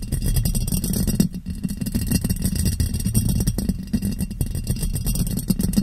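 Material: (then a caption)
Glass. A clear, ribbed glass jar, hollow and empty, sits upside down over a microphone and is tapped on its sides with fingers. The rapid, steady tapping produces dull, boomy low thuds centered around 170 Hz. Each tap dies away almost at once, with very little bright ring.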